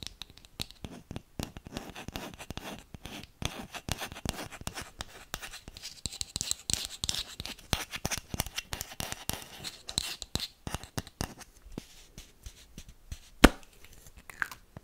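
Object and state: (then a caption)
Plastic deodorant bottle. Long manicured nails scratch and tap along the body of a small white plastic deodorant bottle with a teal plastic cap, held in the hand close to the mic. The result is a dense, steady stream of dry, crisp scratches and quick hollow plastic clicks with bright, hissy edges. Near the end, one sharper, louder tap stands out before the scratching trails off more quietly.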